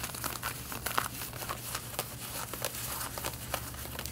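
Long painted fingernails scratch the front of worn light-blue denim jeans near the waistband and front pockets. The result is a steady, rough scratching texture with brief bright, crinkly bursts over a low constant hum.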